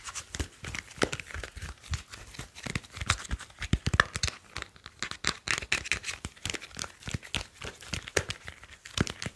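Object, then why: Smartphone with glass screen and metal back. A grey smartphone with a glass screen and metal back is gripped in both hands while fingers rub, squeeze and tap the casing. The result is a dense run of quick, dry clicks and crinkly scratching, with bright high hiss over soft low thumps and almost no ring after each touch.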